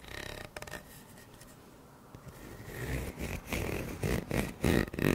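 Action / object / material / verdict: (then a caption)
scrape / corrugated plastic pop tube / plastic / none. A purple corrugated plastic pop tube, hollow and about 30 cm long, is held in both hands in front of a microphone while fingertips and nails scratch and rub along its ridges. Soft, ridged scraping starts quietly, then builds into louder, rougher rubbing with low, hollow rumbles and bright, crackly bursts toward the end.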